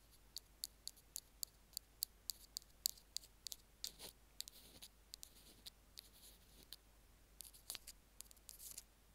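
Two bamboo ear picks tap and scratch near the minus button of a small, hollow, white plastic Apple earphone mic remote resting on a stone slab. The first half has a steady run of sharp, bright clicks with almost no ring, then softer scratchy rubbing and scattered taps.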